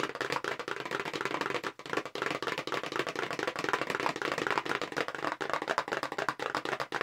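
Long pink nails tap fast on the front of a hollow, long, narrow, light-blue paperboard makeup brush box held horizontally in both hands. The taps are dry, short, hollow clicks centered in the midrange with almost no low end. They form a dense, uneven, continuous patter with brief dips, and each click dies away almost instantly.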